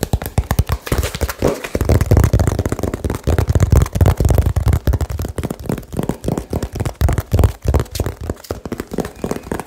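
Fingertips tap very fast on a small hollow cardboard box, producing a rapid run of about forty dull, low thuds around 90 Hz. Each tap is dry and dies out almost instantly, with little high-frequency content.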